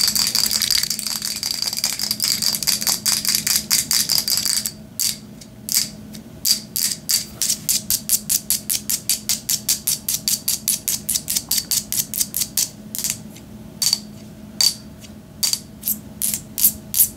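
A small, hollow white plastic spray or lotion bottle, held in the hand, is tapped and shaken with long nails, making bright, clicky rattling taps. For about the first five seconds the taps come in a rapid, dense flurry. After that they slow into distinct, sharp taps at an uneven pace, each dying away almost instantly.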